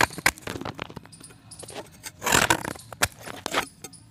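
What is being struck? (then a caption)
Pressed chalk disc. A solid white pressed chalk disc, held in the fingers, is cut and scraped with a box-cutter blade. Short, dry, crackly snaps and scratchy scrapes follow one another, with a longer, louder grinding scrape in the middle. The tone is bright and gritty, and each sound dies away almost at once.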